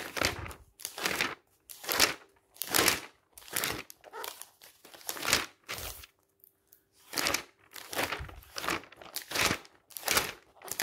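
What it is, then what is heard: Glossy magazine pages being turned. Fingertips rub and flip the pages of a thick glossy paper magazine lying open, with some pages later turned backwards more forcefully. Each turn gives a bright, crisp crinkling rustle, repeating roughly every second with a short pause midway.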